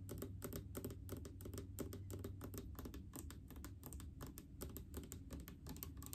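Long painted fingernails tap rapidly on a large blue plastic mouthwash bottle with faceted sides, full of liquid and topped with a white cap. The quick, uneven taps make bright, crisp clicks over a dull low thud, each dying away almost at once in a steady, quiet patter.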